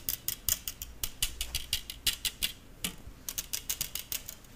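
Fingertips and nails pluck and strum the thin hollow wire loops of a stainless steel balloon whisk with a metal handle. The result is a quick series of short, bright metallic plinks and twangs that ring only briefly, with a brief lull partway through before the plucking resumes.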